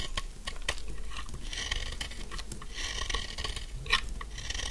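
A narrow, solid pink bar of dry soap, held in one hand, is scraped and carved with a metal snap-off blade, sending off fine dry shavings. Soft, rasping scrapes and crisp little ticks run throughout, with brighter, fizzing strokes and a sharper click near the end.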